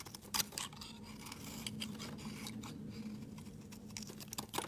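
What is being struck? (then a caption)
Bar of soap shaved with a metal blade. A metal utility knife blade shaves thin curls off a solid, palm-sized oval bar of pink soap held in the hand, scraping and carving into it. Short, crisp, bright scrapes crackle on and off, louder near the start and end, over a steady low hum.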